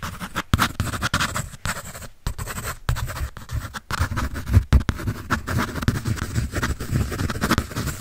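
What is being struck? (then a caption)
Pencil on a paper sketch pad. A pencil scribbles and shades across a large sheet of a paper sketch pad held by hand. Dry, scratchy strokes run almost continuously with brief pauses between them, heavy in low rumble with a faint bright hiss.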